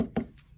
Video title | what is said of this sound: DIY Game Controller Bubble Bath Bomb! - Color Surprise Inside! | rock hard they almost sound like um ceramics like they're really really nice they're dry perfectly dry